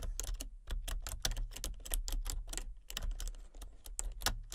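Fingertips type rapidly on a full-size plastic computer keyboard with a colour-changing backlight. The quick, bright clicks and taps run together over a steady low hum.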